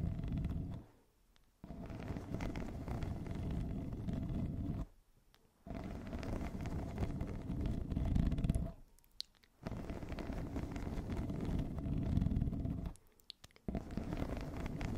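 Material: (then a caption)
Plastic. A yellow corrugated plastic pop tube, hollow and ribbed, wrapped around a fluffy microphone cover is scratched and tapped with long acrylic nails of both hands. It makes a dense, low, rumbling scrape in sustained bursts, broken by four short near-silent pauses.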